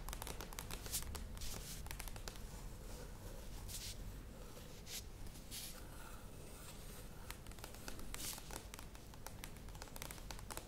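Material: Plastic.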